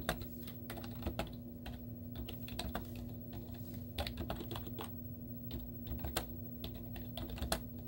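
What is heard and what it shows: Long teal-painted nails and fingertips type rapid taps on the hollow keys of a white plastic laptop keyboard with cartoon stickers on the keys. The result is a continuous stream of short, dry, clicky taps with sharp, brief transients over a steady low hum.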